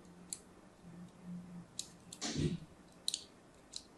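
A thin craft blade scores lines into a solid, opaque purple-and-white striped soap bar held in a hand with pink nails. Several sharp, bright clicks and scrapes sound over a faint low hum, with one longer, fuller scrape near the middle.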